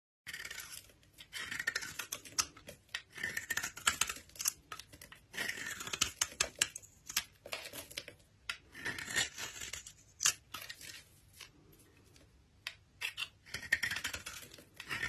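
A utility knife blade scrapes and shaves the edge of a solid rectangular green bar of soap, with an embossed olive design and a pale core, held in the hand. Dry, bright scraping and tearing rasps come in uneven bursts with short quiet gaps, and each stroke stops dead. Flakes of soap fall away as the edge is shaved.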